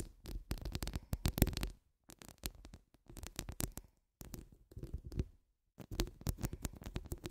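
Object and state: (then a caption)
Metal mesh microphone grille being scratched. Long nude acrylic nail tips scratch down the grille of a hollow metal mesh microphone head. Bursts of rapid, bass-heavy scratching and scraping thuds are separated by short silences, with a faint bright rasp on top.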